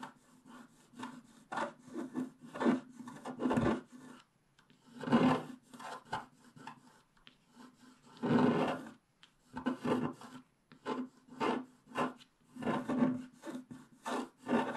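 A wooden stylus scratches away the remaining black coating on a flat scratch-art paper page. Irregular bursts of dry, raspy scraping come in short strokes mixed with a few longer, louder sweeps, with brief quiet gaps between them.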